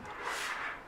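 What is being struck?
Nothing is struck.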